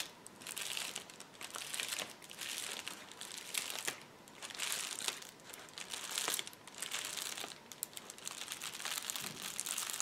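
Both hands rub and press a flat sheet of clear plastic bubble wrap on a table with fingertips and nails, crinkling it. The result is a steady stream of bright, dry crinkles and small crackles that rise and fall in waves, with almost nothing in the low end.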